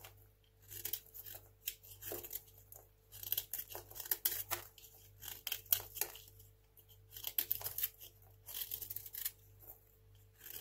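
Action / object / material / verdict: scrape / bar of soap / soap / none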